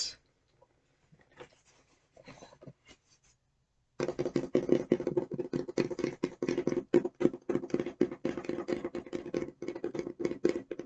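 Long nails tap and scratch the outer surface of an opened, medium-size, hollow, light blue corrugated cardboard e.l.f. shipping box with a barcode. For about four seconds there are only faint, scattered scratches; then a dense run of quick, dry taps and scratches begins, each with a short hollow, boxy thump. These continue steadily to the end.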